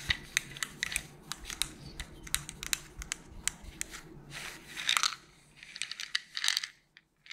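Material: Plastic.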